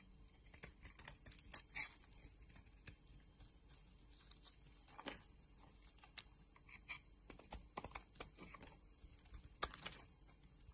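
A solid green bar of soap, held in the hand, is scraped and shaved into layered curls with a metal blade. Quiet, crisp, bright scraping ticks and short rasps come in quick irregular bursts, each dying away almost instantly over a faint steady background hiss.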